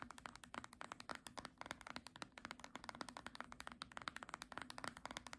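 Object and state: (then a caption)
Hardcover book spine tapped with nails. Long nails tap rapidly on the spine of a small green hardcover book held sideways. The result is a quick, steady run of dry, sharp clicks with almost no ring, centered in the mid and upper range.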